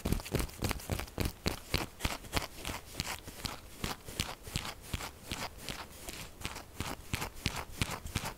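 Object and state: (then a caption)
Textured soap bar. Long nails scratch and tap quickly on the top and sides of a pink textured solid soap bar lying flat. The result is a rapid, uneven run of short, dry, crackly scrapes and clicks, bright at the top with a low thud under each tap and almost no ring.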